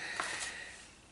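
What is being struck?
Nothing is struck.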